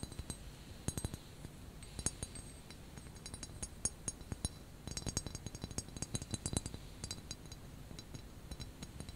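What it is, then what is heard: Ceramic teapot. Long nails tap and click rapidly on the white ceramic handle of a small, hollow white ceramic teapot covered by a knitted cozy, held close up. The result is a steady stream of short, bright clinks that die away almost instantly, some sharper than others, over a soft low rumble.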